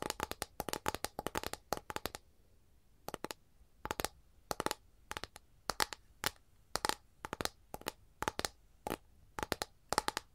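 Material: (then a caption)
Capiz shell. Long nails scratch and tap across an empty, flat capiz shell tray held at an angle, making quick bursts of dry, crisp clicks with a bright edge. The taps come in tight clusters separated by short pauses, each click dying away almost instantly, with little low end.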